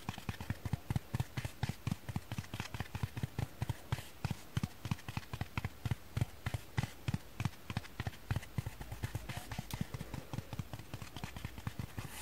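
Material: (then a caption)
Foam. A dry kitchen sponge is tapped with fingers and nails in a quick, steady run of dozens of soft, separate taps. Each tap is a dull, low thud that dies away almost instantly, with little high-end sparkle.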